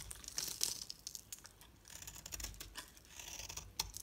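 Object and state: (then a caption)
Bar soap cut into flakes. A solid oval pink-red bar of soap is held in the hand and scraped and sliced into brittle flakes with a metal utility knife blade. Quiet, bright, crisp scraping and crackling comes in short overlapping bursts, with a few sharper snaps as the flakes break away.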